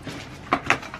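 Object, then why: Cardboard box of metal aerosol cans. A cardboard package holding six metal aerosol cans of Meguiar's Hot Shine tire coating is shaken, and the cans knock together inside. Two sharp, bright metallic clinks stand out over a faint, low background, each dying away quickly.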